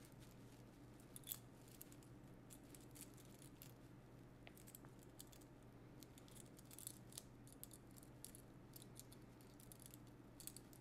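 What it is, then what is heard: Metal rhinestone brooch. A small, solid gold-tone metal brooch set with rhinestones is held just above fabric and turned between the fingertips and nails of both hands. Faint, short, bright clicks and ticks scatter throughout, with a slightly louder click early on, over a quiet, steady low hum.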